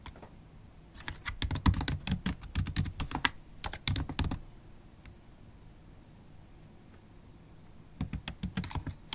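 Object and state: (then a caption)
Laptop keyboard with plastic keys. Long pointed holographic acrylic nails and fingertips tap rapidly on a MacBook Pro keyboard, its black plastic keys set in a solid silver aluminum laptop body. Bursts of quick, sharp clicks with a bright edge run from about 1 to 4.4 seconds, fall quiet, then return near the end.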